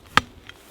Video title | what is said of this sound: Pierres à fleur de landes | Dès que ça sonne pierre, on met une rubalise.